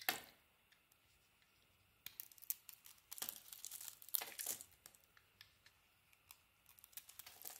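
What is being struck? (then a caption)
Bar of soap with a painted coating, cut with a blade. A utility knife blade shaves chunks of soap and a glossy pink, gold and teal painted coating off a hand-sized solid white soap bar held in the hand. Dry, bright scraping and crackling comes in short bursts with quiet gaps between, with almost no low end.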